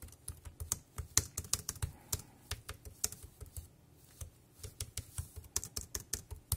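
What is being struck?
Plastic keyboard.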